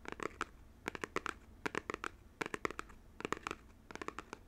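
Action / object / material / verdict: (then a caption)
tap / small printed cardboard box / cardboard / none. Fingernails tap and scratch the faces of a small, hollow, printed cardboard game controller box held close to the mic. They make clusters of short, dry, hollow clicks and light scratches with a mid-range body and bright edges. The sharp hits die away almost at once, with quiet gaps between the bursts.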